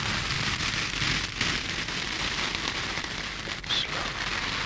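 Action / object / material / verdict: scrape / foam kitchen sponges with scrub pads / foam / none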